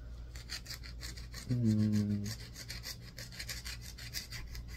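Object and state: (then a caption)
Bar of soap being scratched. A palm-sized solid green bar of soap is scratched with a yellow multi-tined tool on a wooden handle, making quick, fairly steady rasping strokes with a bright, dry scrape about three to four times a second. Midway through, a louder low humming tone with stacked overtones sounds for under a second beneath the scraping, then fades while the rhythmic scratching continues.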